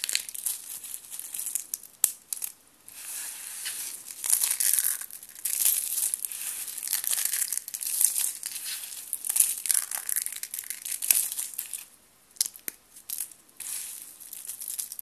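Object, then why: Soap shavings. A hand with blue nails rubs, presses and scatters a pile of thin, brittle, crushed blue and pink dry soap shavings with the fingertips. Dense, dry crinkling crunches with a bright, high hiss and almost no low end, pausing briefly at a few points.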